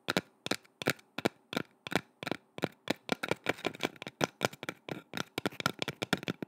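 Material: Wood.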